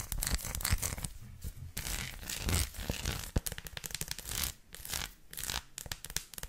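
Long lilac nails tap and scratch rapidly over a flat, solid, hand-sized dark chocolate bar covered in raised textured bumps. The result is a dense, crackly stream of quick taps and rough scrapes, with bright, dry clicks over soft low thumps and brief pauses between bursts.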